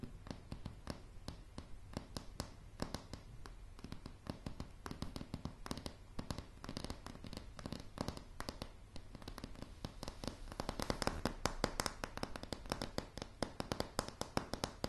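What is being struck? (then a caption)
Wooden plank floor tapped with fingernails. Long, polished fingernails on both hands tap a light, solid wooden plank floor in quick, irregular bursts. The clicks are short and dry, with a dull low thump under each one, and they grow denser and a little louder toward the end.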